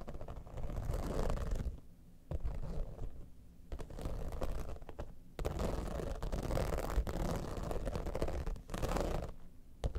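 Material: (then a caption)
Vinyl. Long manicured nails scratch across the top of a mid-sized, hollow, soft zippered pouch, a holographic cosmetic bag in iridescent textured synthetic vinyl with a dimpled quilted surface, resting on a fur rug. The scratching comes in dull, muffled bursts of rough, papery rasping with brief quiet gaps between strokes, its energy mostly low and rumbling with very little bright top end.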